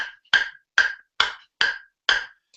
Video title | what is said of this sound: Ask The Coach Show #95 - Dealing with Short Backspin | It's quite a high-pitched noise, which means that this wood is quite fast.